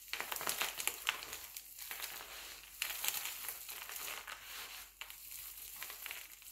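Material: Glycerin soap.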